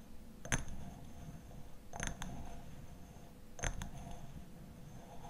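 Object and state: Glass honey bottle.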